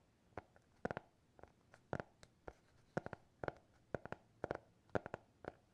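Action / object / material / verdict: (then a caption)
tap / hardcover notebook / cardboard / none. Fingernails tap and scratch on the cover of a small, closed, solid black hardcover notebook bearing a TikTok logo. The result is a quiet, uneven series of short, dry taps in the midrange, some in quick clusters, with almost no ring, over a faint scratchy hiss.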